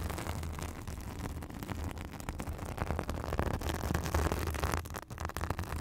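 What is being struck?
Synthetic fibrous bath sponge.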